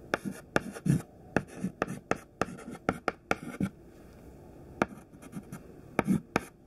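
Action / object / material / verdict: scrape / chalk stick on a slate chalkboard / chalk / none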